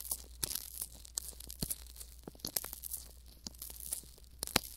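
Fingertips and thumbs rub, squeeze and massage a pair of hand-sized, soft, skin-toned silicone ear models coated with Vaseline and mounted around a binaural microphone. The result is a quiet, close, wet crackling and squelching with many short, sharp bursts that are bright and high, over a steady low hum.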